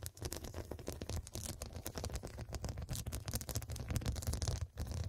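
Long dark pointed nails tap and scratch across a soft, filled, medium fabric cushion covered in square faceted glass studs. Rapid, dry clicks and scraping ticks run continuously over a low, muffled rumble, with a brief dip near the end.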